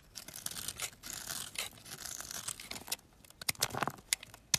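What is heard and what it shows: A metal utility knife blade carves long slivers off a palm-sized, solid olive-green bar of olive oil soap held in the hand. Bright, dry scraping strokes rasp and crackle, and in the last second several sharp, clicky snaps cut through as pieces break away.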